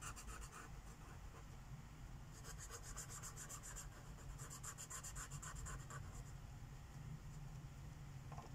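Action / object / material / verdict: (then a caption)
scrape / paper coloring page on a wooden table / paper / none. A teal Sharpie marker tip rubs in small strokes over a flat paper page of a coloring book lying on a wooden table, filling in shapes. A soft, continuous scratchy rubbing is heard, with bursts of bright, rapidly repeating strokes over a low, steady background hum.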